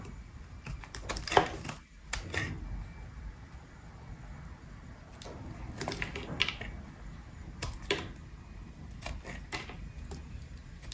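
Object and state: Bar of soap being carved.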